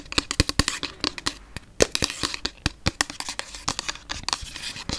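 Long nails tap and scratch a hollow, pink frosted plastic Lumene toner bottle with liquid inside. The result is a rapid, uneven series of sharp, dry clicks with bright scratchy texture between them. Each tap dies almost instantly, with a faint hollow tone around 460 Hz.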